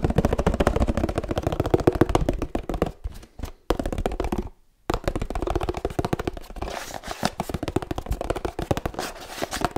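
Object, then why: Laminated paperboard drink carton. A 1-litre laminated paperboard oat milk carton, held on its side, is tapped and scratched with fingertips and nails in rapid, uneven bursts. The hollow, muted taps sound low, with a brief pause near three seconds and a short silence before five seconds. After that the fast tapping resumes with a brighter scratching texture mixed in.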